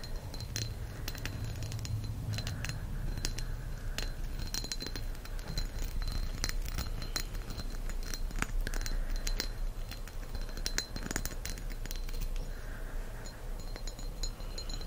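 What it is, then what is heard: Green pressed-glass candle holder. A small, solid, thick green pressed-glass candle holder with a leaf pattern is held in the hand and tapped with fingertips and nails. The result is a steady run of quick, light clinks and ticks with a short, high glassy ring. A constant low rumble sits underneath.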